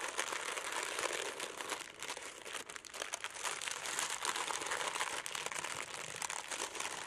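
A thin sheet of red tissue paper lying flat on a black table is folded and crinkled by fingertips with long nails, with a small crystal likely wrapped inside, though it is not visible. The result is a steady, dense stream of soft, bright crinkling and rustling with quick little crackles, and almost no low end throughout.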